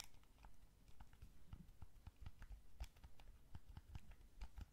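A small, hollow, blue wired plastic gamepad is held in both hands while thumbs and fingertips press its buttons and tap its shell. The result is quiet, irregular clicks and soft taps, each with a low, dull thump and a brief bright tick that dies away almost instantly.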